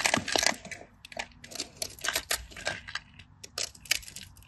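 A craft knife scratches and cuts through a scored grid on a solid cream bar of dry soap held in the hand, and chunks crumble off. The result is a rapid run of dry, bright crunches and crackly scrapes with almost no low end, each one stopping dead with no ring.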